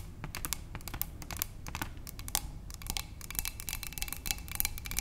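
Long nails tap quickly with both hands on a narrow clear glass cylinder vase holding tulips. The result is a dense run of short, bright clicking taps that fade almost instantly, over a low background rumble.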